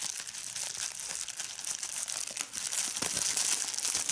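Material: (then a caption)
Plastic. Fingers squeeze a large sheet of clear plastic bubble wrap, held close up at times, popping its bubbles. The result is a dense, bright run of crinkling, crackling and sharp little pops with almost no low end, growing slightly louder toward the end.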